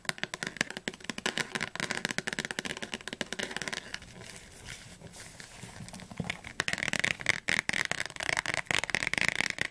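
Long nails tap fast on the cover and spine of a thick blue paperback dictionary, making rapid, dry, clicky taps that are bright with almost no low end. The tapping softens into a quieter, rustling patter midway, then returns sharper and crisper, with each tap dying away almost instantly.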